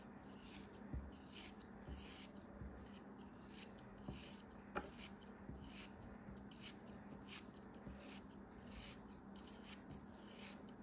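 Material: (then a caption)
Kinetic sand. A solid, molded piece of pink kinetic sand is held in the hand and scraped and shaved with a metal utility knife blade. Repeated soft, bright rasping strokes sweep across the quiet clip, with a few sharper clicks and a faint steady low hum underneath.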